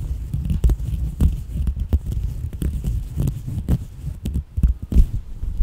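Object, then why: Coarse woven fabric. Long manicured nails and fingertips scratch and rub the textured surface of a soft beige coarse-weave, linen- or knit-like fabric piece held up and bunched in both hands. The sound is a muffled, low, rumbling rustle with repeated dull, thumping scratches and almost no bright content.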